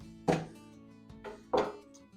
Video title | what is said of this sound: HOUSE TOUR - TRADITIONAL FRUIT SODA BREAD | tap the bottom and if you can hear that Hollow sound